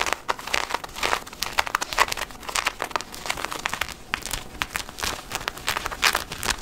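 Fingertips and nails scratch and rub the thick woven cotton of light-blue denim jeans being worn, around the back waistband and the pocket area with its leather patch. The sound is a steady run of quick, dry scratching strokes with a bright, hissy texture and almost no low end, each stroke dying away almost at once.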